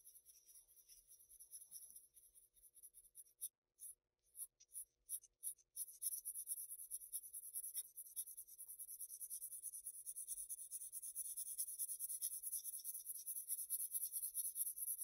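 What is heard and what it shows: A wooden graphite pencil tip scratches dense hatching strokes across a flat Bristol paper sheet. The quiet, bright, hissy scratching starts as steady strokes, breaks into a few short separate strokes with brief pauses, then settles into continuous rapid hatching that grows slightly louder toward the end.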